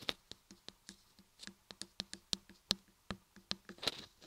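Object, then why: Carved laundry soap block. Long fingernails on both hands tap and scratch the sides of a solid cream laundry soap block embossed "RAPPELER ASMR" and carved with ears on both sides. Quick, dry, bright clicks with very short ring follow one another at an uneven pace, each with a light, low thud.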